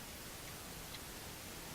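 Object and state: Nothing is struck.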